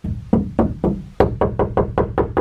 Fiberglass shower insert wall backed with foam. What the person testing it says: that sounds solid before i used to bounce back and forth it was really flimsy